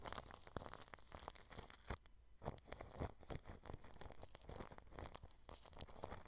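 A small paintbrush strokes clear plastic cling film wrapped over a microphone grille, making dense crinkling, rustling brush strokes with close, low-heavy thumps. Most of the sound sits in the low end with sharp crackles on top, and a brief lull near the two-second mark before the steady brushing resumes.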